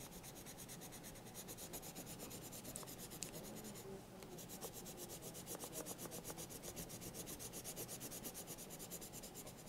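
A yellow colored pencil held in the hand scratches and rubs over the page of a thick paper sketchbook lying open while coloring. Rapid, steady back-and-forth strokes make a dry, bright rasping texture, with a brief change in the strokes around the middle. The result is a continuous scratchy coloring sound at a low level.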